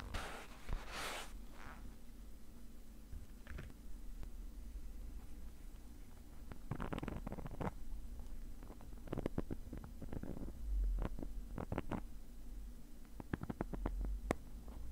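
A thin metal pick tip scratches the surface of a black woven nylon mesh zippered case that is padded and hollow. Quiet, short bursts of dry scratching rise and fall over a steady low hum, with a denser cluster of quick scrapes in the second half.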